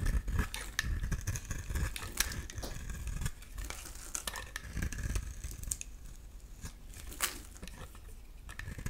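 A metal utility-knife blade shaves a solid oval blue soap bar, now smoother, into curly flakes. Repeated soft scraping and rasping strokes with a heavy low rumble underneath. Occasional bright crisp ticks come through as the flakes peel away.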